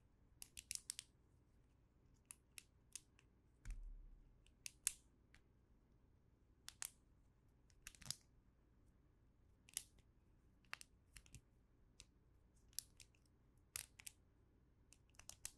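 A small snap fidget toy, a chain of hollow red and green plastic links, is held in both hands and twisted and bent with the fingertips so the links snap and click into new positions until it forms a loop. An irregular series of sharp, dry, bright clicks sounds over a quiet background, each dying away instantly with no ring, along with a brief low handling rumble.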